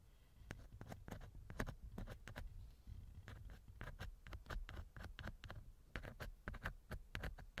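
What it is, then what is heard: Silicone ear of binaural microphone. A thin wooden earpick held in the fingers scratches inside the right ear canal of a small hollow silicone ear model on a binaural microphone. Quick, dry scratches come in irregular bursts, with crisp bright ticks over a soft low rumble. The sound is close and quiet.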